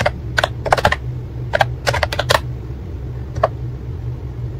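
Fingertips type steadily on a white and pink plastic ACTTO wireless keyboard with round keycaps, producing nine short, dry clicks in uneven bursts with a pause before the last. A steady low hum sits underneath throughout.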